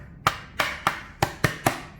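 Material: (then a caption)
Carbon fiber. Six sharp knocks on a dry (prepreg) carbon fiber body panel of the kind used in F1 and MotoGP, each a hard, short tap with a bright mid-range click that dies away quickly. The panel sounds solid and plate-like, showing it is very strong.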